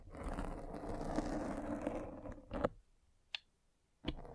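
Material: Foam.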